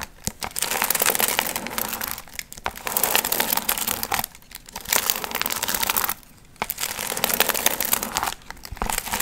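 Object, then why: Paper piñata with foil fringe. Long nails scratch the gold foil fringe on a medium, hollow paper pumpkin piñata. A bright, dense crinkling and rustling comes in steady bursts separated by brief quiet pauses, with little low end.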